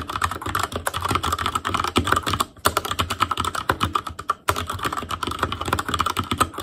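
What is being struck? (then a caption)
Mechanical keyboard with plastic keycaps and linear switches. Fingertips type steadily on an Asus Claymore Core backlit mechanical keyboard with plastic keycaps and Cherry MX Red switches. The result is a fast, dense stream of short clacking keystrokes with a tonal ring around 1.3 kHz, broken by two brief pauses.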